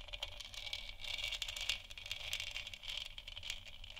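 Long nails scratch the surface of a large, hollow, textured plastic moon lamp sphere. The result is a continuous, bright, raspy scratching with a crackly, rattling grain that swells and dips in quick strokes over a faint low hum.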